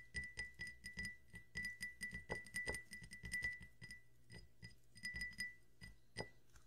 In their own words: 炭酸音とグラスタッピング carbonated water and glass tapping